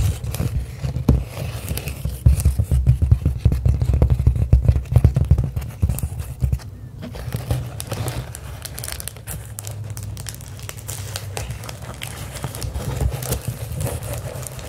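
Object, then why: Plastic bubble wrap sheet. Long acrylic nails scratch and tap across a clear plastic bubble wrap sheet held flat. The result is a dense, irregular stream of crinkling scratches and soft taps over a heavy low rumble, busiest and loudest in the first half before settling into a quieter, steadier rustle.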